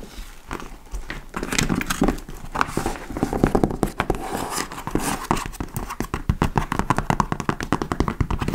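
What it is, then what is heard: Leather tote bag being scratched. Long nails scratch the front flap and top panel of a large, hollow, dark-brown leather tote bag (likely faux leather). The result is a continuous run of dry, papery scratching and soft tapping with dull low-end thumps, and each stroke stops quickly with almost no ring. Toward the end the strokes turn into faster, crisper bursts.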